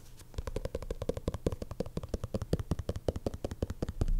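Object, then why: Faux leather cover of a thick bound notebook. Fingertips and short nails tap and scratch the black faux leather cover of a thick bound notebook, its pages visible at the edge, as it lies on a desk. About thirty rapid, soft, dull taps sound in a steady run, low and muffled with almost no ring, over a faint scratching rustle. The tapping grows slightly louder toward the end.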